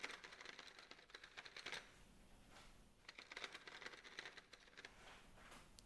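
Fingertips run across and tap the tops of a full row of solid wooden colored pencils standing in an open metal tin held in one hand. They make quick, dry, clicky runs of bright ticks centered near 2.1 kHz, with little low end and almost no ring. The sound comes in two dense bursts separated by a softer rustling stretch.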